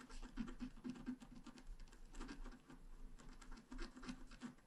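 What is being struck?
Wax-coated scratch art paper card scratched with a wooden stylus.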